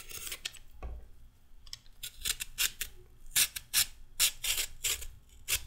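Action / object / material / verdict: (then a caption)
scrape / raw carrot scraped with a metal peeler / carrot / none. A whole, solid raw orange carrot is held in the hand and scraped with a red-handled metal vegetable peeler, with the peel strips falling onto a wooden table. A series of bright, rasping scrapes comes in short, irregular strokes, each with a crisp, papery texture and very little low end.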